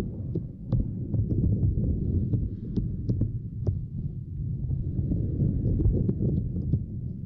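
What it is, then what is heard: Silicone grid mat. Long glossy nails and fingertips tap and scratch over a small, flat purple silicone grid mat resting across a microphone. The result is a dense, muffled, low thumping with an irregular rapid patter and faint crisp clicks on top.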